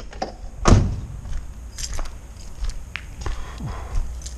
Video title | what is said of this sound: MORE HUGE SCORES DUMPSTER DIVING UK | it sounds empty. Sounds empty, but it's not empty.